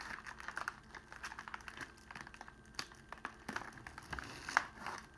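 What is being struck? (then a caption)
Clear cellophane sheet. A crumpled sheet of clear cellophane is pulled open and spread out flat on a table by fingers. It gives a quiet, continuous run of dense, crisp crinkles and snaps. One sharper crackle stands out near the end.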